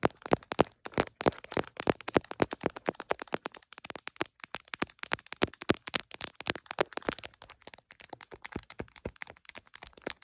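An iPhone in a smiley plastic case, mounted on a tripod, is tapped across the case back with long nails, giving a dense stream of sharp, dry plastic clicks with a bright top. Near the end, fingertips cover the case and the taps turn softer and duller.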